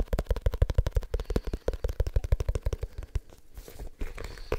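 A small, dark, solid leather-bound book is held in the hands and tapped quickly with the fingertips on its cover. It gives about two dozen rapid, dull, low thuds with no ring, uneven in timing, then fades into softer scratchy brushing.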